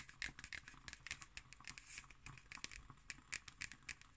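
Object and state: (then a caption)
Hardcover notebook. Long nails tap and scratch the cardboard cover of a black hardcover paper notebook held upright. The result is a quiet series of short, dry, high clicks and brief scratches with almost no ring.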